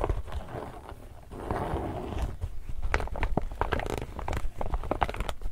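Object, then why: Laminated polypropylene tote bag. Long nails scratch and tap the printed surface of an empty, medium-size, glossy illustrated laminated polypropylene reusable shopping bag. Soft, dull crinkly scraping gives way to a quick run of sharp, dry taps and rustles. The sound is mostly low and muffled, with brief bright clicks that die away almost instantly.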